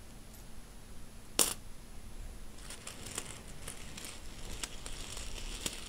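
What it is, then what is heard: Pile of metal coins. A pile of mixed solid metal coins on a bedsheet is stirred, slid and pushed around by fingertips and an open hand. One sharp, bright jingle stands out early, followed by softer, steady shuffling and scattered light clinks of metal on metal. The fabric muffles the movement beneath the high, tinkling clinks.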